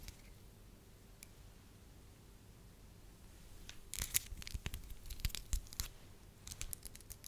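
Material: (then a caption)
Wax. A thin, translucent, pale-yellow wax sheet is stretched between both hands, then held as a strip while the fingertips rub and stretch it. After about four quiet seconds of faint low hum, a burst of crisp, dry crackling and sharp clicky rustles starts and continues in uneven spurts to the end.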